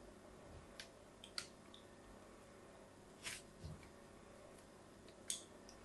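A small blade cuts diagonal grooves into a solid white bar of soap held in the hand. Several brief, crisp scraping cuts sound out, bright and high-pitched, separated by quiet pauses over a low, steady hiss.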